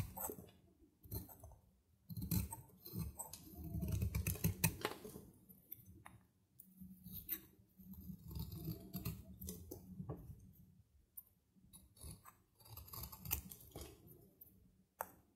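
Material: Soap.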